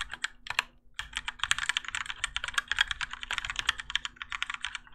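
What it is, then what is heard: Mechanical keyboard with ABS plastic keycaps. Both hands type continuously with their fingertips on a Keychron K4 compact mechanical keyboard with Gateron Yellow switches and grey and orange ABS plastic keycaps, its plastic and metal case resting on a desk mat. Quick, bright clacks with very short decay run almost without a break, with a brief pause near the one-second mark. A faint steady low hum sits underneath.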